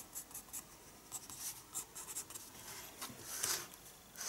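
A pencil draws on a paper page of a spiral sketchbook, making a quiet run of short, scratchy strokes. The sound is bright and airy, with hardly any low end and a slightly louder burst of strokes near the end.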